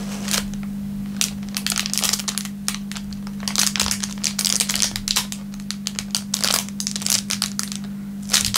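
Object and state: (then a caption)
Clear plastic wrapper being crumpled. A thin clear plastic film wrapper on a wooden table is squeezed and crushed flat with the fingertips of both hands. It gives irregular bursts of bright, crisp crinkling and crackling over a steady low hum.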